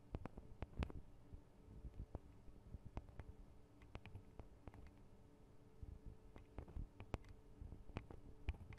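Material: Metal.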